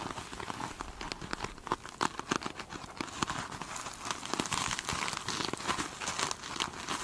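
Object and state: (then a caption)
Glitter mesh sponge being scratched. Long nails scratch the surface of a foam sponge covered in glitter mesh, first up close and then while it is held in the hand. The result is a steady, close, crinkly scratching with bright crackles and many quick sharp ticks that rise and fall throughout.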